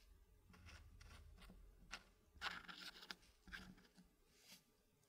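Fingertips pick up, slide and click small solid dark-wood blocks against each other and against a green-painted wooden puzzle frame. Soft scraping and shuffling run under several sharp, bright wooden clicks that die away quickly.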